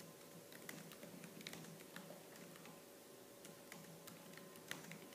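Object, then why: Plastic laptop keyboard. Fingertips with purple-painted nails type fast on the black plastic keys of a laptop keyboard. The result is a quick, continuous patter of light, bright key clicks, with a few sharper taps standing out over a steady low hum.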